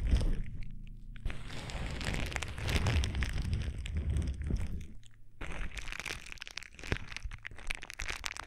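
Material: Plastic.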